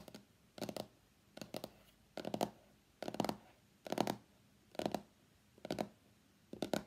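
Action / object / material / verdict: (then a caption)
tap / small cardboard box / cardboard / none. Fingertips and nails tap the printed underside of a small, hollow, closed white cardboard iPhone X box lying on a mat. The sound comes in nine short bursts of quick, dry taps, each with a hollow papery knock and a bright clicky edge. The bursts are spaced by brief silences in an unhurried, slightly uneven rhythm.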